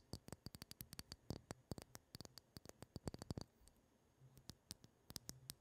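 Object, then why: Liquid-filled glass facial globe. Long patterned acrylic nails tap and scratch a pink liquid-filled glass facial cooling globe, about 15 cm long with a round ball and a clear glass handle, held in both hands close to the mic. About 32 sharp, quick clicks ring bright with a soft low knock beneath, coming in fast irregular bursts. A quieter stretch of faint scratching follows before the taps resume.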